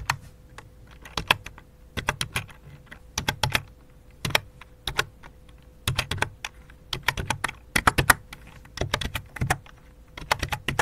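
Fingertips type on the main keys and numpad of a full-size white and light-blue plastic computer keyboard with a hollow plastic body. Quick bursts of short, dry clacks with a bright edge and a hollow thump come in uneven clusters separated by brief pauses. A faint steady hum runs underneath.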